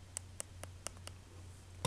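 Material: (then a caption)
Epoxy resin. Tapping on a hard epoxy sticker dome placed over paper in a flattened metal bottle cap gives six sharp, dry clicks over a low steady hum. The clicks show that the sticker is hard.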